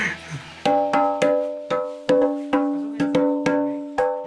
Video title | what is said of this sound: A fun-filled adventure in Bulacan! (Full Episode) - Biyahe ni Drew | Ang mga bato kasi sa Bayokbok Cave, mala instrumento ang tunog kapag pinukpok.